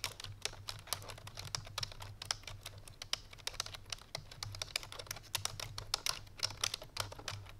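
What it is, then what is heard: Plastic computer keyboard being typed on. Fingertips and painted nails of both hands type rapidly on a full-size black plastic computer keyboard resting on a white fur rug. A fast, uneven stream of short, bright, clicky keystrokes, each dying away almost instantly, sits over a faint steady low hum.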